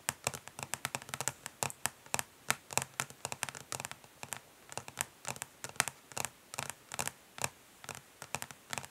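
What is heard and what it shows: Long nails of both hands tap quickly and lightly scratch the ridged underside of a flat, rectangular, hollow plastic eyeshadow palette lying face down on a grey surface. About forty quick, dry, bright clicks come in an uneven rhythm, with soft scratchy rasps between them. Each tap stops almost at once, with very little low end.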